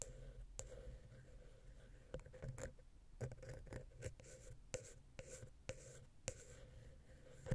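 A wooden ear pick scratches the metal mesh grille of the small, hollow silver XY capsule on a Zoom H6 recorder. It makes soft, close scratching with a low hollow rumble and a run of sharp, light clicks. The clicks ring in a steady mid tone and a bright high sheen.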